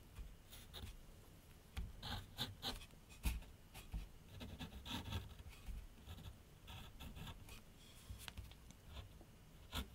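A graphite pencil tip draws and scratches outlines on a large flat sheet of white paper mounted on a board on an easel. Quiet, dry scratchy strokes come in short irregular bursts with bright hiss, over a faint low rumble.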